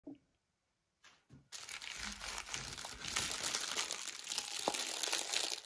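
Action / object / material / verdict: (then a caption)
scrape / thin plastic film wrap around a chocolate multipack / plastic film / none. Fingertips with painted nails press, flex and rub the thin clear plastic film sealing a flat multipack of nine foil-wrapped milk-chocolate Easter lollies on sticks, lying on a blue table, then turn the pack over. After a few faint touches, a steady bright crinkling builds and grows louder toward the end. The pack stays closed and full.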